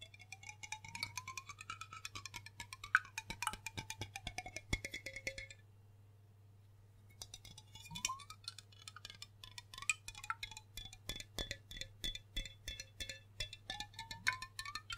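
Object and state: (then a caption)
Glass liquor bottle. A large, hollow dark glass rum bottle with a yellow label and metal-foil neck, fill level unclear, is held sideways and tapped with fingertips and nails along its body and label. Rapid, short, clicky taps ring with a bright glassy tone around 1.5 kHz, while a gliding tone rises and falls beneath them. The taps pause briefly near the middle, all over a steady low hum.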